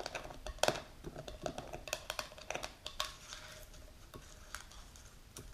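A medium plastic supplement jar with a clear plastic lid and a label, filled with powder, is held and turned while long pink nails tap and scratch it. Quick, dry clicks and taps come in irregular bursts with brief scratchy rubbing between them, carrying a faint hollow tone near 670 Hz and a bright edge, each hit dying out almost at once.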